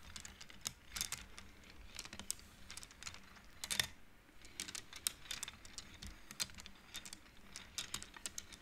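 Fingertips with long nails push the painted wooden beads along an upright wooden-frame abacus, and the beads clack together. A rapid, uneven series of short, bright clicks with almost no ring runs throughout, with a brief lull around the middle.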